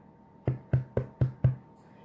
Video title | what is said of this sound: Basic White Bread - Part 2 of 2 | how you get that hollow sound that tells me it's done